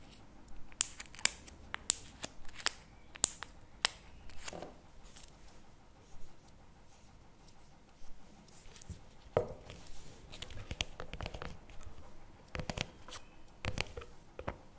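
Fingertips and nails tap and scratch the plastic lid and side label of a CremaNovi hazelnut chocolate spread tub, a hollow paperboard cup held on the table. Sharp, bright, dry clicks with almost no ring stand out early on, separated by quieter scratchy rubbing. Later passages bring clusters of softer taps and scraping.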